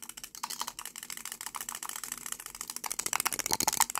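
Fingertips and short nails rapidly twist, pull and rattle the shiny silver metallic-look cap on a small, hollow, cylindrical lipstick tube with a dark red plastic body, held in both hands. The result is a fast, uneven stream of bright, dry clicks and rattles with almost no low end, growing louder and sharper toward the end.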